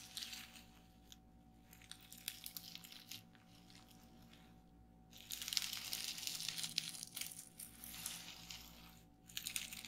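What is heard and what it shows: Fingertips with long nails press, tap and pop the air-filled bubbles on a flat sheet of clear plastic bubble wrap lying on a table. Bright, dry crinkling and crackling comes in bursts, broken by short quiet gaps. A sharp pop stands out now and then, and the noise grows denser and louder in the second half.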